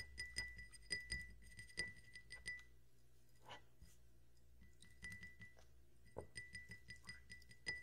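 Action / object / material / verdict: tap / glass tumbler / glass / none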